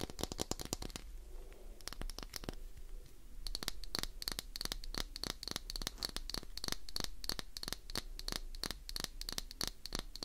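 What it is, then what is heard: Glycerin soap bar. Long acrylic nails rapidly scratch a solid, palm-sized, translucent green Duru glycerin soap bar held in one hand. The result is a fast run of sharp, dry clicking scratches with a bright, crisp edge and a soft, scraping hush underneath.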